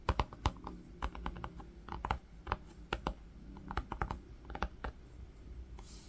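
Fingertips with short nails tap and drum on a flat green linen-textured fabric book cover with a brown faux-leather panel, lying on pink faux fur. The result is a quick, uneven run of soft, dull, muffled taps with short clicky edges that die away almost instantly, over a low, steady hum.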